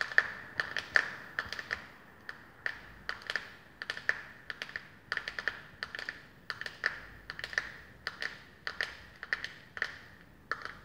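Long painted fingernails tap repeatedly on the lid and rim of a small round plastic powder compact held in the hands. Dozens of quick, dry, clicky taps, some in rapid bursts, carry a bright plastic tone near 1.8 kHz. Each tap dies away almost instantly against a quiet background.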